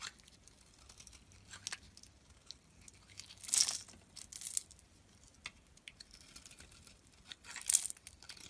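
A solid yellow bar of soap, held in the hand, is shaved with a steel utility knife blade, sending crumbly flakes falling. The sound is a quiet, dry, bright crinkling and scraping, broken by short ticks. Two louder, crisp shaving strokes stand out partway through and near the end.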